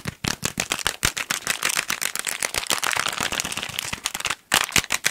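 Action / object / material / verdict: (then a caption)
tap / small cardboard box / cardboard / none. Fingertips and nails rapidly tap and scratch a small, hollow pink cardboard package with a barcode. The result is a dense stream of short, dry, bright clicks and scratches with very little low end, broken by a brief pause just before the end.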